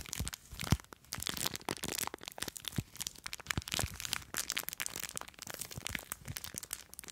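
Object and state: Plastic bag of foam beads.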